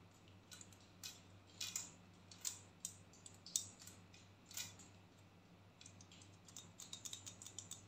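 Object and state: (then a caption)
Plastic hair clip. A small pink and black plastic claw hair clip is clicked open and shut and tapped with long nails. Quiet, bright, dry clicks and taps come in an irregular series, sparse at first and then quicker and denser toward the end. Each click stops almost instantly over a faint, steady low hum.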